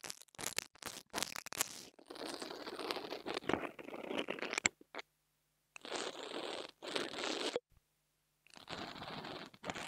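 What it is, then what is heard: Mini lavalier microphone grille being scratched. An interdental brush scratches the top of the metal grille on a small black plastic mini lavalier microphone. Quick, bright scratchy bursts give way to longer rough scraping passes, separated by short silences.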